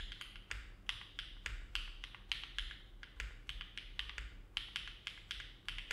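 Both hands' fingertips type continuously on a compact Neo70 mechanical keyboard with an aluminum plate, foam dampening and dark GMK plastic keycaps, resting on a desk mat. A steady run of short, sharp keystrokes clacks with a bright click centered near 3 kHz over a soft low thud. Each press dies away almost instantly.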